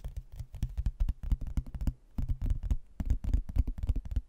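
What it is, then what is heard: Cork-backed hardboard placemat. Fingernails tap and scratch the glossy face of a thin, laminated, cork-backed hardboard placemat held close to the microphone. They produce rapid bursts of dull, low, thudding taps with short scraping strokes, each tap dying almost instantly. The bursts are broken by brief pauses near the two- and three-second marks.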